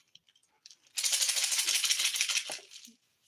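A dried gourd or squash with loose dry seeds inside is shaken like a maraca, with seeds falling out each time it is shaken. A few faint ticks lead into about two seconds of dense, bright, hissing rattle that tapers off at the end.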